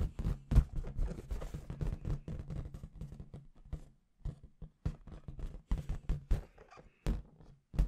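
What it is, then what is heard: Latex confetti balloon. Long red nails tap rapidly on a clear, hollow, inflated latex balloon with confetti inside. The result is a dense run of short, dull, low thuds that die away almost instantly, with brief quiet gaps between bursts and faint bright ticks on the sharper taps.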